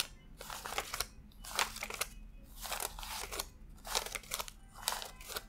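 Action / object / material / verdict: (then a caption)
flick / paper banknotes / paper / none. Fingertips flick and rub individual thin US $100 paper bills one by one from a stack fanned on a desk while counting them. Each flick gives a short, bright, papery crunch and crackle, with quieter rustling in between, repeating in an uneven rhythm throughout the clip.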